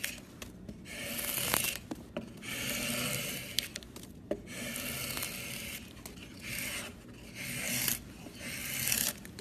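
A steel drawknife blade shaves across the top of a solid, light-colored pine wood block, leaving curled shavings around it. Repeated long, bright rasping strokes swell and fade, with sharp clicks between passes.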